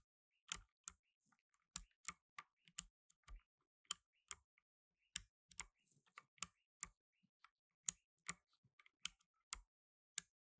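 Blue nitrile-gloved fingertips slowly press keys on a black tenkeyless mechanical keyboard with plastic keycaps. Seventeen sharp, bright, separate clicks sound at an unhurried, uneven pace, each dying away at once with almost no low end. The result is a quiet, crisp clicking.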